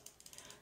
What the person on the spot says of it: you hear that that is a little ball that's inside that it helps move all that around